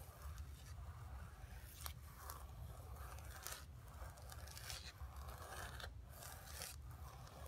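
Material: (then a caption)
Canvas. Long nails scratch and tap across a flat painted canvas board resting on carpet, making soft, dry scraping strokes with occasional bright, crisp ticks. A steady low hum sits underneath the quiet, close-up scratching throughout.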